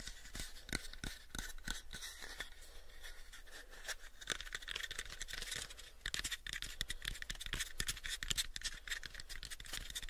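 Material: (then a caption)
Wood. Short fingernails scratch and tap the surface of a light, pale, unfinished hollow wooden box, about a 7-inch cube, held in both hands. Quick, dry taps punctuate a steady bright scratching that sits mostly in the high range. Each tap dies away almost instantly, with no ring.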